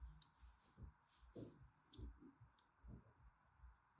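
A thin dark-handled blade scores lines across the corner and face of a solid pink rectangular bar of soap held in the hand. Quiet, low, soft scraping strokes come in separate bursts, with short sharp bright clicks at some of the cuts.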